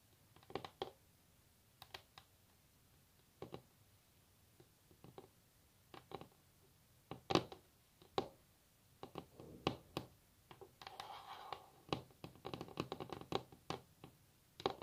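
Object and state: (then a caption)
Varnished wooden table. Long natural nails tap and scratch across a solid varnished wooden tabletop, giving a quiet, irregular run of sharp, dry clicks that die away almost instantly. Isolated taps come first, then clustered flurries and a brief stretch of soft scratching, with bright ticks over a light body.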